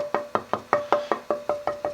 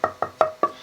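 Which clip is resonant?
The first.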